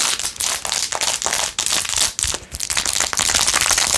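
Long acrylic nails rapidly scratch and tap a handheld, hollow, empty silver glitter plastic phone case covered in blue acrylic rhinestones with a metal ring holder. The sound is a dense, bright, crinkly scratching broken up by quick, irregular clicky taps. It has almost no low end and only brief dips between bursts.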